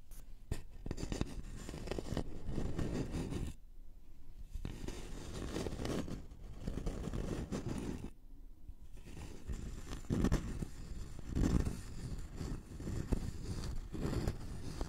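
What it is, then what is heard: Thin wooden notched board, scratched. A thin, flat, solid wooden notched trowel board with a scalloped edge is held in both hands and scratched with fingertips and nails. The result is a steady, dull, low-heavy scratching and rubbing with almost no brightness, easing briefly twice before resuming.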